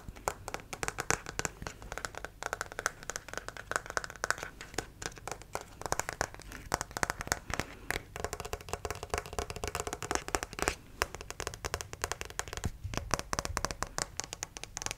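Fingernails tap and scratch the legs of a white plastic acupuncture model doll. Rapid, dry, clicky taps run almost continuously, mixed with a bright, rustling scratch and a faint low hum underneath. Each tap dies away almost instantly, leaving no ring.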